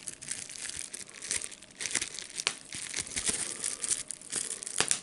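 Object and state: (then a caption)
Plastic bubble wrap being crinkled and popped. A clear plastic bubble wrap sheet with air bubbles is held flat in both hands while fingers crinkle the sheet and pop its bubbles. The result is a steady, bright, hissy crinkling broken by sharp, short snaps of popping bubbles, with almost no low end.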